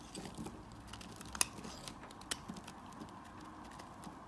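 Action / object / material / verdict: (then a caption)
scrape / soap bar cut with a metal blade / soap / none. A metal blade cuts grooves into and scrapes the surface of a solid orange-yellow bar of soap held in the hand. The result is a quiet, steady crunchy scraping with a bright, crackly texture, punctuated by two sharper clicks that stand out above it.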